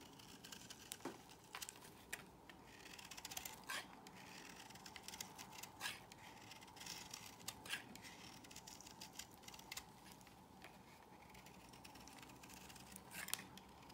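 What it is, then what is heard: Bar soap being shaved. A solid cream bar of soap is held in the hand and scraped and shaved with a small metal blade, its curls falling onto a pile. Quiet, bright, crisp scraping and shaving strokes repeat throughout, with sharper rasping cuts standing out at intervals over a soft hiss.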